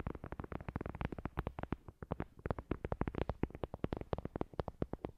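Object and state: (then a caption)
Paper board coaster tapped with nails. Long glossy nails rapidly tap and scratch a thin, solid, flat heart-shaped paper board coaster with a printed white surface. A fast, steady stream of short, dry, muffled taps with low thumpy body and almost no ring continues throughout, interspersed with faint scratching.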